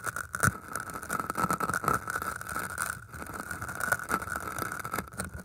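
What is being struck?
Floral foam block scratched with thin metal wire.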